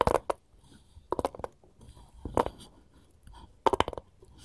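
Gold finger rings tap on a wooden cutting board in four quick bursts of light clicks, separated by near-silence. Each click is short, dry and bright, centered around 500 Hz to 1 kHz, with almost no ring.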